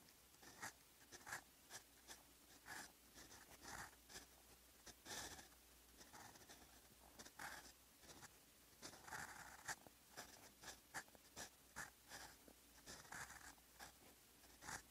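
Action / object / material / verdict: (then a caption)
scrape / steel pen nib on paper / paper / none. A steel fountain pen nib with blue ink writes on a lined paper notebook page. Steady scratching strokes come in short, bright bursts with quiet gaps between them, and a faint steady hum sits underneath.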